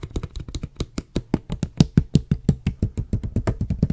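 Fingers tap and knock along a medium, clear, hollow plastic water bottle with a white label, held in the hand and holding some water. About 26 quick, short, dull thuds come in an uneven, fast rhythm, each low and hollow-sounding with a faint bright click on top and almost no ring.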